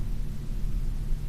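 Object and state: Nothing is struck.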